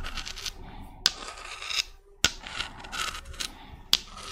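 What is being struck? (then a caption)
Spiky spiral seashell. Long red nails scrape and scratch a small, hollow, white spiky spiral seashell with brown spots. The sound is a bright, dry scratching with rough rubbing textures, broken by three sharp, high clicks that stand out clearly.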